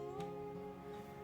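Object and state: Nothing is struck.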